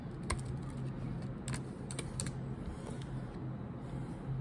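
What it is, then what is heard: Laptop keyboard with plastic keys. Long pointed nails and fingertips tap the black plastic keycaps of a silver laptop keyboard in a typing motion. Soft, bright clicks come through irregularly over a steady low hum, which stays at a fairly even, quiet level throughout.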